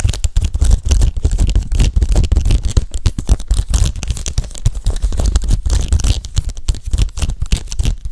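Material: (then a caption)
Leather. Fingertips and nails scratch and tap the scaled surface of a large, soft, hollow, metallic gold python-embossed leather handbag with gold hardware. A dense, steady stream of quick scratches and taps runs for about eight seconds, heavy with low, muffled thumps and a faint, dry rasp on top.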